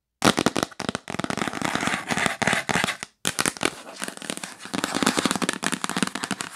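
Long nails rapidly tap and scratch the lid of a yellow printed cardboard box, which is held at times and at times lies flat. The sound is a dense run of dry, crackling clicks and scraping rustles that cuts out briefly near the middle and then resumes. Each tap is short and bright with almost no ring.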